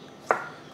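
A knife slices through a blanched green asparagus stalk into small rounds on a cutting board, making one short, crisp crunch with a quick tap that fades almost at once. The slight crunch shows the asparagus is only just cooked and still crisp, as it will finish cooking with the eggs.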